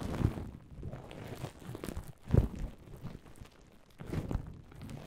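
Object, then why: Plastic bubble wrap. Long polished nails and fingertips scratch and squeeze a large loose heap of clear plastic bubble wrap with hollow air cells. The result is a soft, muffled crinkling and crunching with most of its weight in the low end, broken by three louder squeezing bursts spread across the clip.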